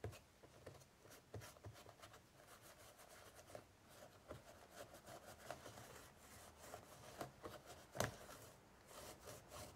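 Fingertips wipe and rub a tissue across the woven straw surface of an ornate straw basket with its lid closed and hollow inside. The result is a quiet, continuous scratchy rustling with a low hollow tone underneath, broken by brief crackly ticks, the sharpest coming near the end.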